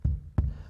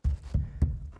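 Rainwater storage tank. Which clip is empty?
The first.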